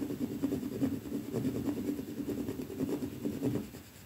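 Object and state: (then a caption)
Painted plaster wall. A wooden hairbrush with dark, stiff bristles is scraped against a solid white painted plaster wall. The result is a steady, dry, scratchy rasp in repeated brushing strokes, with its body in the low-mid range and little bright content.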